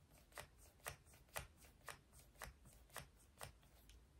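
Fingernails tap and scratch on a small, hollow, rose-gold metal lipstick case held in the hand. Short, bright clicks repeat at a steady, slightly uneven pace of about two per second, with soft scratching between them over a faint low hum. Each tap dies away almost at once.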